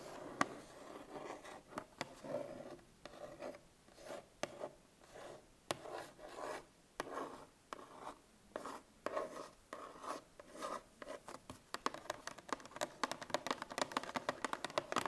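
Long painted nails scratch and rub the printed top face of a 1 L Tetra Pak milk carton lying on its side, likely full. Short dry rasping strokes come in bursts with a midrange, papery tone and almost no low end, then give way to quicker, sharper taps toward the end.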